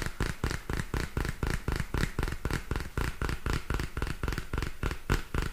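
Long fingernails tap and scratch on the glossy card cover of a small purple spiral-bound paper notebook. A fast, fairly even run of short, dull taps sits low and thumpy, each fading almost at once, with a faint scratchy hiss between them.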